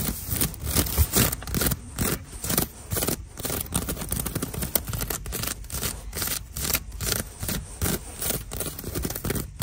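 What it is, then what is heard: Woven seagrass basket. Fingertips and long nails scratch along the braided strands of a hollow, rectangular woven seagrass storage basket sitting on a store shelf. It makes dry, crackly scraping and rustling in quick, uneven strokes over a steady low background rumble.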